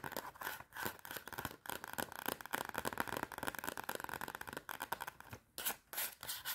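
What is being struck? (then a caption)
Cardboard notepad cover. Long red nails scratch and tap the front and back cardboard covers of a clapperboard-style spiral notepad. The result is dense, dry scratching with quick tapping bursts that stay bright and crisp, centered in the midrange, with brief pauses near the end.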